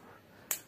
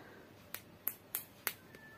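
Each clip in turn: First: A single crisp, bright knock with almost no low end, from the hollow-sounding upper part of a firecracker tube. Second: Six short, dry, high ticks with no ring; the firecracker tube sounds solidly packed.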